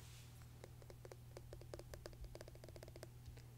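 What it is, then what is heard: Glass pickle jar with metal lid. Fingertips and nails tap and scratch the white metal screw lid and glass sides of a medium glass jar of hamburger pickle slices, full of pickles and brine, held upright against a wood-grain table. A quick, uneven run of soft clicky taps, each with a short mid-pitched knock and a bright tick, sits over a steady low hum.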